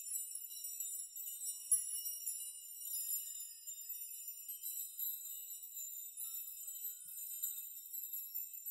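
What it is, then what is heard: Metal nail chime. Hands sweep and rock a hanging curtain of metal nails so the nails knock together with a brushing, shaking motion. The result is a quiet, continuous shimmer of bright, high tinkling jingles with many overlapping short onsets and no low end.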